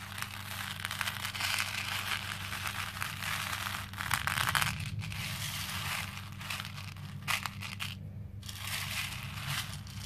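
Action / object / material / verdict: shake / plastic beads in a plastic bowl / plastic / none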